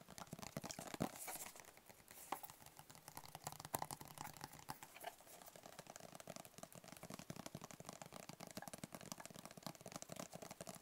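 A closed, hollow black rigid cardboard gift box with a white label is held in the hands and tapped with the fingertips. It makes a steady stream of quick, dry, hollow taps with almost no ring, soft and close, with a few louder taps standing out early on.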